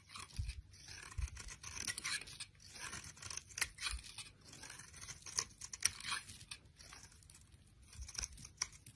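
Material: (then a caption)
Soap. A solid oval bar of green soap, held in a hand with long nails, has its surface shaved into thin strips with a utility knife blade. Quiet, crisp scraping and crunching strokes come in quick bursts, bright and dry with soft low thumps underneath.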